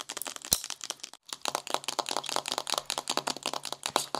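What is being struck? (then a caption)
Cardboard eyeshadow palette. Fingernails painted green tap quickly on the cover and edge of a flat, magenta, wave-embossed cardboard eyeshadow palette lying on a white table, with a typing-like rhythm. The result is a rapid run of dry, crisp, bright clicks with a faint crinkle, almost no low end and very short ring. There is a brief pause just after one second.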